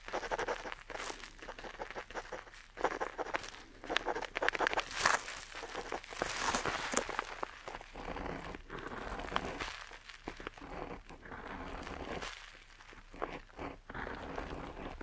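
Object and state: Pen nib scratching parchment-style paper.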